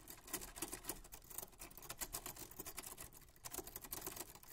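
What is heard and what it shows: White-gloved fingertips hold the sides of a 1940s Smith-Corona manual typewriter, with a black painted metal body, round keys and paper loaded, then press and tap its keys. The key mechanism gives a steady run of quick, bright, metallic clicks and taps that stop short with almost no ring.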